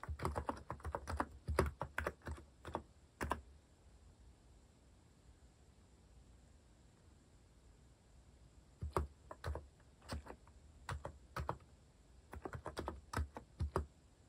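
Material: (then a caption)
Plastic. Fingertips type fast on a compact white-cased mechanical keyboard with cat-themed plastic keycaps, producing rapid clusters of short, dull, deep-bodied clacks. The typing runs for about three seconds, stops for a quiet stretch of about five seconds, then resumes in uneven bursts until the end.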